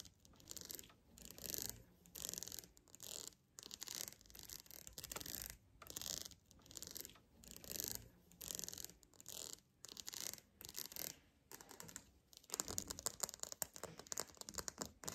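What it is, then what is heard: Plastic wide-tooth comb. A black, solid plastic wide-tooth comb is held in one hand while fingernails strum, tap and scratch along its teeth. The result is a run of short, dry, bright rasping bursts with quick clicking ticks and almost no low end, growing denser and more continuous toward the end.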